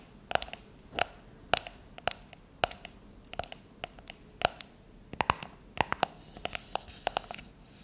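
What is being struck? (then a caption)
Metal aerosol can. Long nails tap and scratch across the labeled body of a shaving foam can, likely a metal aerosol can with a plastic cap, lying on its side on a countertop with both hands on it. Sharp, dry, bright clicks come in quick irregular clusters, each with a brief hollow ring around 700 Hz that dies almost instantly, with soft scratching in between.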